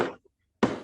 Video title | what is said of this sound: Why Standing posture ZhanChun becomes a joke? Pt.5.(UTA10*80) | When you tick with your finger to tap it, you can hear it much better